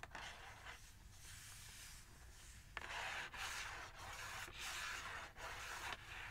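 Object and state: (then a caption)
Cardboard gift box. Long acrylic nails tap and scratch rapidly across the back panel of an eos gift set box, a hollow printed cardboard box with contents inside. A soft, bright, papery scratching runs throughout, with a few sharp taps cutting through and the scratching growing louder in the second half.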